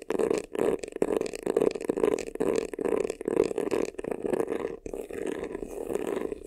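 Fingertips and nails scratch quickly across the front and sides of a hollow, black, crocodile-embossed faux leather vanity case. The result is a run of dense, raspy scratching bursts with a hollow, boxy resonance around 430 Hz and a bright, textured edge, separated by brief pauses.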